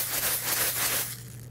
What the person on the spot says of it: this happens to be a granular product, and you would know it because when you shake it, you would hear that there's granules inside, okay?